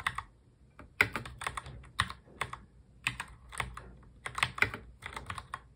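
Both hands type continuously on a full-size black mechanical keyboard with plastic keycaps, fingertips tapping the keys. Quick, sharp clicks come in irregular bursts, bright and clacky with a focus around 2 kHz and almost no ring. Some strokes land louder than others, with light low-end thuds underneath.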